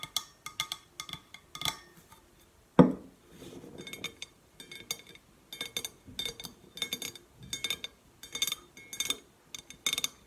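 Long painted nails tap in quick, uneven bursts on the sides of a hollow, red-painted stainless steel insulated water bottle labelled CHERRY with a steel base. The bottle is held, then set upright on a wooden table with a single heavy thud partway through. The taps sound as bright, short metallic clinks over a softer, low hollow resonance.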